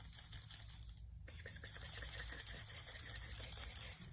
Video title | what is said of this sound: Creating sound flower gardens with Satoko Hayami and Abena Motaboli | When I shake them, it sounds very dry.